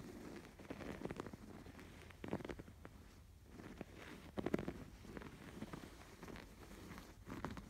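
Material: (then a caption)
Canvas, yarn. Fingertips scratch across the curved, raised yarn embroidery stitches on a stuffed canvas pillow. The sound is quiet, soft, dry scratching and rustling in short bursts, mostly low and mid in tone with little brightness. The scratches stop quickly, with almost no ring.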